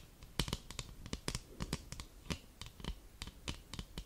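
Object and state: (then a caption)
Thin cardboard greeting card. Long burgundy nails scratch and tap the back of a thin, folded white cardboard Christmas card held close to the microphone. About nineteen short, dry, crisp clicks and scrapes follow each other in an irregular run, each with a bright papery edge over a soft low thump, fading almost instantly with no ring.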